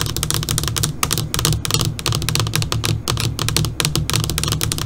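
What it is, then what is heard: LCD monitor screen tapped with fingernails. Long pointed dark purple fingernails on both hands tap rapidly on the surface of a flat black LCD computer monitor screen that is switched off. The result is a dense, steady stream of short, bright, typing-like clicks with almost no ring, over a constant low hum.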